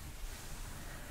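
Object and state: Nothing is struck.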